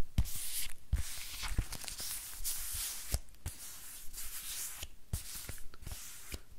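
Long nails tap and scratch across the surface of a thin, flexible silver-grey plastic book. Sharp, dull taps cut through bursts of bright, crinkly scratching hiss that swell and fade throughout.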